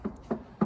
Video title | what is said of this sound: Can I save this scrapper? | it doesn't sound too bad. It sounds like metal